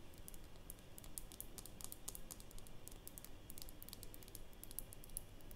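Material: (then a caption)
Glass. Long nails tap quickly and lightly on the glass sides of a small, polish-filled glass nail polish bottle with a black cap, held in the hands. The result is a quiet, steady stream of short, bright clicks that die away almost instantly, over a constant low rumble.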